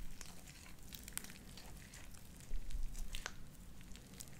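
A handful of soft, wet, stringy light-blue sticky slime dotted with small white beads is squeezed, stretched and pulled apart between both hands, fingertips and dark-painted nails. It gives quiet, irregular wet crackles and bright little pops over a low, steady rumble, with a slightly louder squelchy stretch around the middle.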